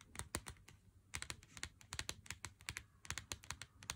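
Fingernails tap on a full Lindt Excellence 90% cardboard chocolate box held in the hand. Quick, dry, bright clicks come in an irregular, rapid patter, each dying away almost instantly. The result sounds much like fast keyboard typing.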